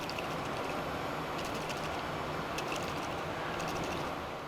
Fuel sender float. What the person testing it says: if you shake it and it sounds like a conch shell, it's it's got water slloshing around in there